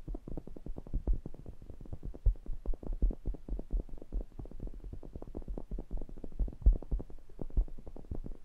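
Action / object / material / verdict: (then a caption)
tap / metal pencil condenser microphone grille / metal / none. Fingertips tap and rub the wire mesh grilles and rims of a matched stereo pair of small cylindrical metal pencil condenser microphones with hollow capsule heads. A dense, rapid stream of soft, deep, thumping taps is heard, boomy and low with almost no high end. Each tap dies away almost instantly, with a few louder knocks standing out.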